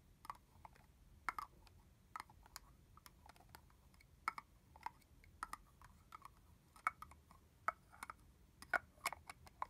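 Fingernails tap the hollow, translucent plastic cap of a full red plastic body-mist bottle. The result is a steady, irregular series of quiet, light clicks that are dry and hollow, centered in the midrange with some bright edge. Each click stops almost at once with no ring.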